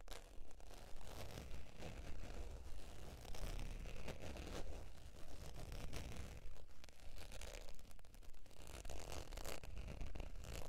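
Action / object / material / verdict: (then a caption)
scrape / faux leather zip wallet / faux leather / none. Long, pointed dark nails scratch across the textured surface of a beige faux leather zip wallet lying flat on white fur. The result is a steady, uneven run of soft scratching and rustling strokes with a low, muffled body and only a faint bright edge.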